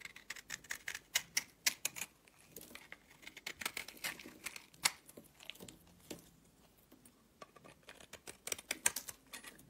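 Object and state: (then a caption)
Soap bar being carved. A solid purple soap bar held in the hand is carved with a blade, and curls pile up. Quick, crisp, bright scraping and clicking cuts come in irregular bursts, each dying away almost at once, with little low-end weight.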